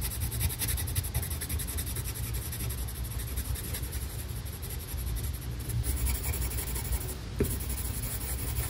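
A green colored pencil draws fine lines and small circular strokes on a flat paper coloring page. The result is a steady, soft scratchy rubbing with a faint bright grain over a dominant low rumble, plus a brief sharper tick near the end.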